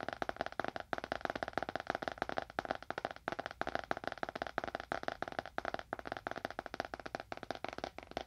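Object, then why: Leather-bound book. A small, dark, solid leather-bound book is held upright in both hands in front of a binaural microphone and tapped quickly with the fingernails of both hands. The result is a fast, steady stream of short, dry clicking taps with a hollow midrange tone, very little low end, and almost no ring after each tap.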